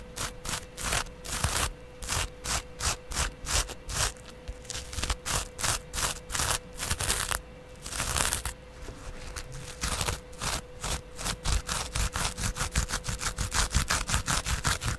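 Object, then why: Dry foam kitchen sponge. A dry, palm-sized yellow kitchen sponge is held in the hand while its porous foam side is scratched and rubbed with a double-edge razor blade and fingers. Rhythmic bursts of bright, raspy scratching repeat throughout, with slower strokes early on that speed up toward the end, over a faint steady low hum.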